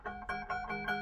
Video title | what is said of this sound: The Grinch christmas decoration cut out on plywood.. scroll saw project. | got our ping ping sound. That's the sound you want basically